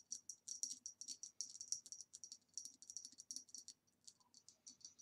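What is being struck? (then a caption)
Ribbed glass vase. Long nails tap quickly on the base and sides of a hollow green ribbed glass vase standing upside down, giving about 28 short, quiet, bright clicks with a high glassy ping. Each tap dies away almost at once, with little low-end body, and the taps come in rapid, uneven bursts.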